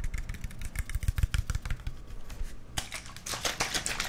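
A clear plastic water bottle with its cap on, hollow and mostly empty with a little water inside, is held in the hands and tapped and squeezed with the fingertips. Rapid soft, low, hollow taps come first, then brighter crinkling crackles as the thin plastic is squeezed.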